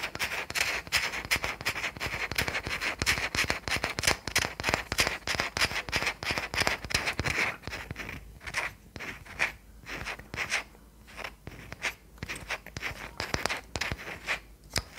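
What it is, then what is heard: Small wooden toy car. A small solid wooden toy car with round wheels is held up and tapped and scratched with long nails on its body and wheels. Rapid, irregular dry clicks and scratchy taps, bright and crisp with almost no ring, run dense for about seven seconds, then thin into sparser, quieter taps.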